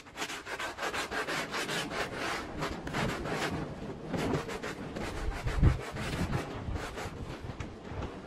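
A handheld blue bristle brush scrubs a wet, dirty, patterned woven rug lying on the floor. Repeated rough, rasping strokes of steady loudness are heard, with a dull low thump near the middle as the brush presses into the soaked fabric.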